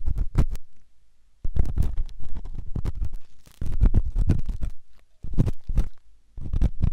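A flat stainless steel ear pick scrapes the inner ear of a white silicone ear-shaped microphone. Close, muffled scratching and rubbing come in bursts of rapid strokes with brief quiet gaps between them. The sound is dominated by deep, rumbling low end.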